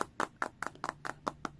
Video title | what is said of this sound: Hands on Redmi Pad - NextLive Hands On | kita ketok-ketok gini nggak kopong guys ini tuh padat